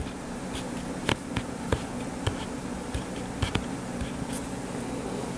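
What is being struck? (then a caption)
Closed hardcover paper book. Fingertips and short nails tap on the blue cover of a closed hardcover paper book with a solid page block, lying flat on a table. Several short, sharp taps stand out above a steady low hum.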